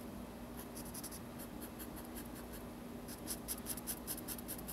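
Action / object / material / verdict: scrape / felt-tip marker drawn across sketchbook paper / paper / none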